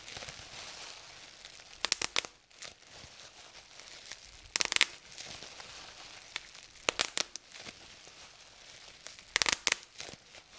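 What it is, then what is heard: Plastic bubble wrap being popped. Fingertips pinch and pop single air bubbles in clear plastic bubble wrap resting on a table. Short, bright snapping pops arrive in four quick clusters, with soft plastic crinkling and rustling between them.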